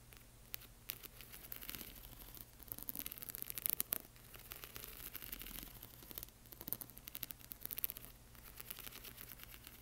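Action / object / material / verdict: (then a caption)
scrape / sheet of plastic half-pearl stickers on film / plastic / none. Fingernails scratch and tap across the rows of a flat sheet of small plastic half-pearl stickers on clear film. The result is quiet, bright, crackly scratching dotted with sharp little clicks, over a steady low hum.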